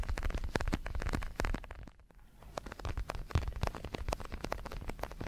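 Fingertips tap and scratch the surface of a large red padded boxing glove made of synthetic leather, hollow with foam padding and held in both hands. Rapid, dull low thumps mix with brief scratchy crackles, pausing briefly near the two-second mark before resuming.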